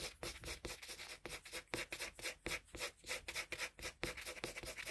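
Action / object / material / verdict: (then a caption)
scrape / colored pencil on a sheet of drawing paper / paper / none. A colored pencil held in a metal extender shades a flat sheet of drawing paper with quick back-and-forth rubbing strokes. The result is a dry, bright, scratchy rasp, repeating in rapid, uneven bursts with little low end.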